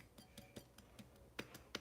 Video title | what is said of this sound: 🔴 Keto Fried Pork Chops with Sausage Gravy & Veggies | you can hear how crispy